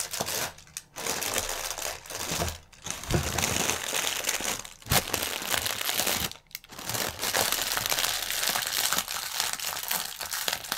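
Hands pinch and twist sections of a clear plastic air-cushion packaging strip, crinkling the thin film. A dense, bright, continuous crackle runs throughout, broken by a few brief quiet gaps, with sharp snaps standing out now and then.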